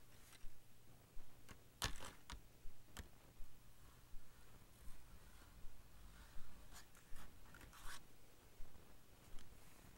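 Fingertips and nails tap and scratch a small printed cardboard box of Ticonderoga pencils, which appears to hold pencils and lies on a blue furry blanket. Quiet, dry taps and scratchy strokes come in a fairly steady rhythm over a low background hum, with a few brief, bright clicks that stand out and die away almost at once.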